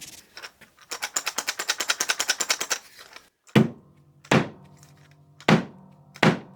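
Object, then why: Wooden mallet with coins inside. A homemade wooden dead blow mallet filled with spare change is shaken, and the loose coins inside rattle and clatter in a fast, steady series. It is then struck four times with sharp thunks and short low ringing tails, and the blow does seem quite dead.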